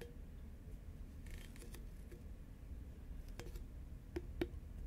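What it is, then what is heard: Cardboard snack tube tapped with fingernails. Long nails tap on an upright, hollow green Pringles can made of composite cardboard. The taps are soft, quick clicks with a hollow, mid-low tone around 350 Hz, heard over a steady low rumble. Two sharper, louder taps stand out near the end.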